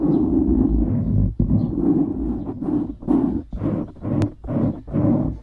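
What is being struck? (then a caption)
Foam microphone windscreen. A black foam windscreen on a microphone is scratched on top with the nails of both hands. The result is loud, rough, low rumbling scrapes in bursts of varying length, with brief gaps between them.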